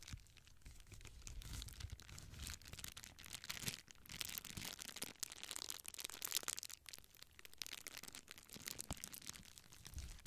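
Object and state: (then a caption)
Plastic bubble wrap being crumpled. A clear plastic bubble wrap sheet is held in both hands close to the microphone while fingers squeeze, crumple and crinkle its air-filled bubbles. Dense, bright crackling and crinkling runs throughout, with a low, soft rumble from the handling underneath.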